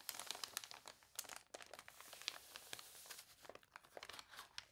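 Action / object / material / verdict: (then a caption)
scrape / paper catalog pages / paper / none. Hands with long dark nails turn the water-warped pages of an open paper toy catalog on a table and press them flat, making the wrinkled paper crinkle. The sound is a dense run of quick, bright crackles and snaps with almost no low end, easing briefly in the middle before picking up again.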